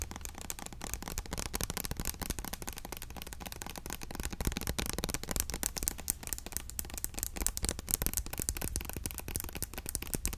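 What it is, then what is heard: Plastic hair oil bottle. A small, clear orange plastic Ultimate Blends hair oil bottle filled with liquid is held in the hand and tapped quickly with long nails. A dense, continuous stream of sharp, dry clicks with very short decay continues at an even level over a steady low hum.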